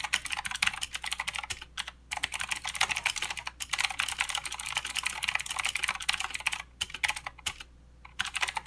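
Both hands type with their fingertips on a full-size mechanical keyboard with plastic keycaps and blue clicky switches. A fast, steady run of bright, sharp clicks follows, broken by a few short pauses near 2, 3.5, 6.7 and 7.8 seconds. Each keystroke stops almost instantly.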